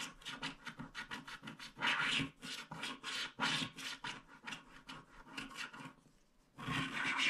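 A wooden stick scratches the remaining black strip on the left of a small, flat paper scratch art card with a black wax coating. A quick series of short, bright, rasping strokes is heard, with a few longer, louder drags. The scratching pauses briefly near the end before resuming in one sustained, gritty rub.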